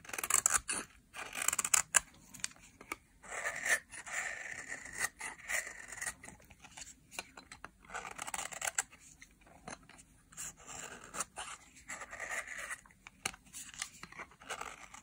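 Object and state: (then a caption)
Dry soap bar scraped with a blade. A utility knife blade scrapes fine powder and shavings off the surface of a solid bar of dry pale yellow soap. The strokes come as a quick run of short, crisp, bright scratches with very little low end and almost no ring after each pass.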